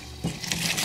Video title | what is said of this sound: SUPER CRISPY ASIAN WINGS- COOK WITH ME | give this a light toss. You can hear how crispy that chicken is.